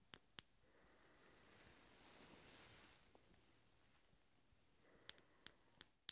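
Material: Steel.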